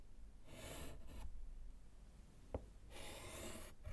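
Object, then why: Wood-framed slate chalkboard with chalk. A gloved hand writes with orange chalk on a small solid slate board in a wooden frame, making bright, raspy scratching strokes. Two bursts of scratching are separated by a single short tap, over a low background rumble.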